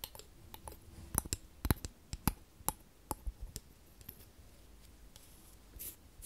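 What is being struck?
Small wooden frame.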